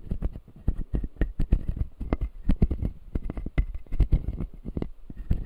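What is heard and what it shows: A fingertip taps and scratches the lower white plastic teeth of an opened, solid clear acrylic dental model. The result is an uneven run of quick, dull, low-heavy knocks, each dying away almost at once, with soft scratchy rubbing between them.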